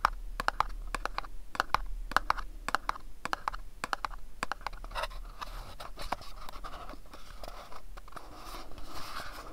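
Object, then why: Small pyramid-shaped cardboard box. A small, hollow, printed cardboard box shaped like a pyramid is held in the hands while fingernails tap and scratch its faces. Quick, sharp taps come first, followed by softer, continuous scratching with a papery midrange and a bright edge.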